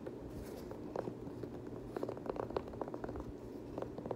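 Fingers scratch the knit upper and the rubber sole edge of an empty multicolor knit Nike Kobe 9 high-top sneaker. A soft, steady rustling bed is broken by a series of short, dry scratchy ticks that cluster toward the middle and end.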